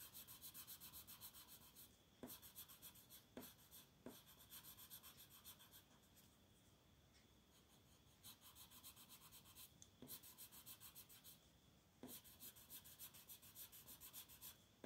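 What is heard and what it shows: A purple colored pencil makes repeated shading strokes across a flat paper coloring book page on a table, while the other hand rests flat on the page. The strokes come as fast, rhythmic bursts of bright, scratchy rubbing, broken by quieter stretches of softer shading and a few sharp ticks as the pencil lifts and lands.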